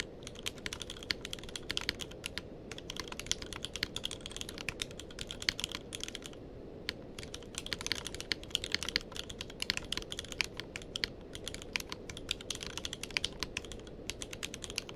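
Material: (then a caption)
Plastic. Fingertips of both hands type continuously on a tenkeyless mechanical keyboard with plastic keycaps. A fast, steady stream of short, bright clacks sits over a soft low rumble, with brief pauses between bursts of keystrokes.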